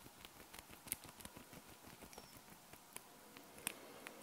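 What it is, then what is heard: Small metal magnetic balls. A flat hexagonal sheet of small solid metal magnet balls is held in the hands while fingertips and long nails press, fold and scratch across the balls. A quiet, steady patter of tiny dry clicks and scratches is heard, with a few sharper, bright metallic ticks standing out. Each tick is very short and dies away at once.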